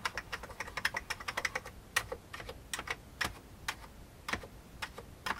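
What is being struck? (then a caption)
Plastic computer keyboard keys. A fingertip presses single keys on an old beige plastic computer keyboard, producing a run of about 25 short, dry clacks with a bright, hollow plastic tone centered near 2 kHz and almost no low end. Each click dies away almost instantly, with brief pauses between uneven bursts of keystrokes.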